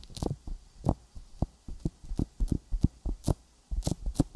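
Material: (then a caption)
Silicone. Fingertips tap a sticky silicone binaural microphone ear coated with petroleum jelly. The result is an irregular run of soft, muffled, low thumps with wet, sticky clicks and a faint bright hiss. Each tap dies away almost at once.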